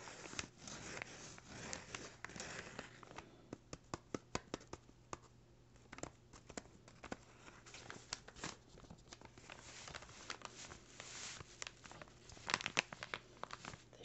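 A small, empty brown kraft paper bag is rubbed, scratched and crinkled with fingertips, then flipped over to its written side. Soft, dry crinkles and scratchy rustles come in quick, irregular bursts with bright, papery texture and a faint steady low hum underneath.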